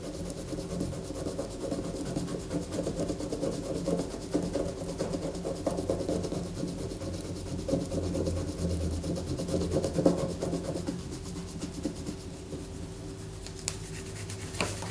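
Long fingernails scratch a solid white bar of soap held on a paper poster, making a steady, dry rasping scrape with a dull low body and little brightness. Around eleven seconds the scratching thins to a quieter rustle as the soap is lifted in hand, with a faint bright tick near the end.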